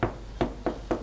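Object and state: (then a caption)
Fully baked bread loaf. Four knocks on the bottom of a freshly baked, upturned bread loaf give short, dull, hollow thuds with a low pitch and almost no high-frequency content. The loaf is baked through, with an even crumb of small bubbles inside.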